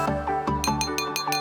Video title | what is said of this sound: BAKSO PIKULAN NIKMAT SELRA RAKYAT - SECRET STORY (29/01/26) | Dipukul ya. Oh, iya. Tuh, suaranya jadi nyaring.